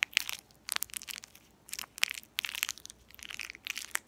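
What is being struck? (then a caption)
Metallized plastic candy wrapper. A small, empty, shiny purple metallized plastic candy wrapper has its ends pinched and crinkled between fingertips with long painted nails, then is rubbed between both hands. Bright, sharp crinkling and crackling comes in quick irregular bursts with short pauses between them. The sound sits almost entirely in the high range with no low end and no ring after each crackle.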